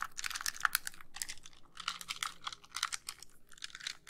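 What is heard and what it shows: Long nails tap rapidly over the shell and buttons of a white, hollow plastic handheld game console held close to the microphone. Quick, dry, bright clicks come in dense clusters with brief pauses, each tap dying away almost instantly with little low end.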